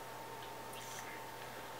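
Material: Nothing is struck.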